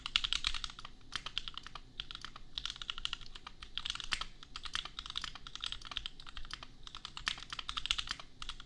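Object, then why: Plastic mechanical keyboard. Fast fingertip typing on a $250 custom compact mechanical keyboard with Gateron Milky Yellow switches and red and pink plastic keycaps. It makes a steady stream of short, bright plastic clacks centred around 3.4 kHz, with a low undertone. The keystrokes come in dense bursts separated by brief pauses.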